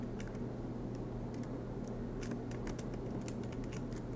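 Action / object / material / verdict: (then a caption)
tap / laptop keyboard, plastic keys in metal body / plastic / none. Fingertips of both hands type continuously on a silver MacBook Pro's black plastic low-profile keys set in its aluminum chassis. Quiet, short, bright key clicks come in quick, uneven bursts over a steady low hum.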